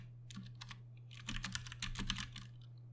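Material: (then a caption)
Plastic. Slow typing with the fingertips of both hands on a compact 60% Ducky One 2 Mini mechanical keyboard with plastic keycaps and Cherry MX Brown switches. Short, bright key clacks fall in uneven clusters over a steady low hum, each click dying away almost at once.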